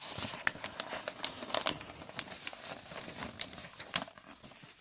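Fingertips rub, crumple and scratch the pages of a large, thin newsprint newspaper lying open on a surface, and turn them over. A continuous bright papery crinkle and hiss carries about a dozen sharp, quick crackles that stop almost instantly, with very little low end throughout.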